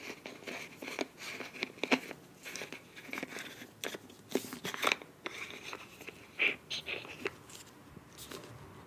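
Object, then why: Soft plastic squeeze tube. Long nails tap and scratch the body and cap end of a filled beige plastic face wash tube with a bronze cap. The result is a quiet run of dry, bright, crinkly taps and scrapes with almost no low end, each click dying away instantly, and a few sharper, louder taps scattered through.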